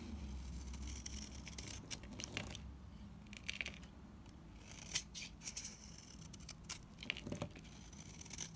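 A dried, solid light green bar of soap is scraped and shaved with a utility knife blade, sending flakes falling. The clip is a quiet run of many short, dry, crisp scraping strokes with bright, gritty texture and almost no ring. A low background hum sits underneath.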